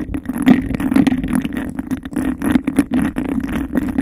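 A clear textured glass cup is held over a microphone while long nails rapidly scratch and tap across its surface. The result is a dense, hollow-sounding rattle of quick scrapes and taps, with a steady resonant tone around 230 Hz.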